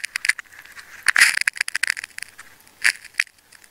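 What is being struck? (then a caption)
Layered plastic tape ball. A green, pink and red layered plastic tape ball, opened into crumpled ridges, is held in the fingers while a craft knife cuts through the tape layers. Sharp, crackling cuts and scratches with bright, crinkly texture come in uneven bursts, with a denser cluster near the middle and another toward the end.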